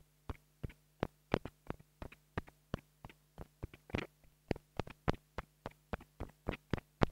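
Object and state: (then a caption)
Plastic mini lavalier microphone being tapped. A small black plastic mini lavalier microphone is tapped repeatedly with a wooden stick, producing a steady series of quick, dry, thumping taps with almost no ring. A faint low hum runs underneath throughout.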